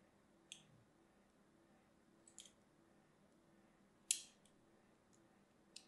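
A thin metal needle scratches the edge and side of a small, solid, hand-sized blue-and-white striped soap bar held in one hand. A few short, bright, scratchy clicks are heard, with the strongest one near the four-second mark, over a quiet, faint low hum.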